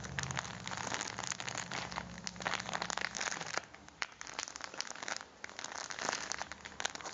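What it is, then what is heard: Foil-plastic coffee pack, full. Fingertips rub and scratch a full red foil-plastic coffee package, folding and squeezing the wrapper. The result is a dense stream of bright, sharp crinkles and crackles, with a faint low hum underneath that fades after about 3.5 seconds.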